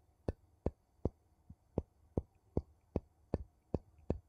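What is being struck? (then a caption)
Metal jar lid on a glass jar. The ridged rim of a gold metal lid on a small glass jar is tapped and scraped with a wooden scoop. About ten short, dry taps come at a fairly steady pace, with one softer tap among them. Each tap has a low thud and dies away almost at once.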